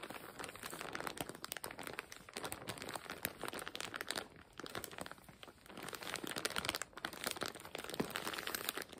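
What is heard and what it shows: Fingers grip and crinkle the edge of a full, clear plastic zip-lock bag stuffed with patterned fabric, squeezing the bag. The result is a steady stream of dense, bright crinkling and crackling with short, sharp snaps and almost no low end, ebbing briefly around the middle before picking up again.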